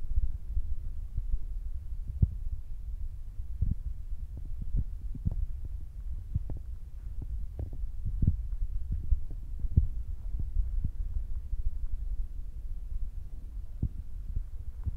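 Fingertips tap steadily on top of a black foam windscreen fitted on a Zoom recorder. The taps come through as soft, muffled low thumps over a constant deep hum, with a throbbing, heartbeat-like rhythm. There is no brightness or ring, and each tap dies away almost instantly.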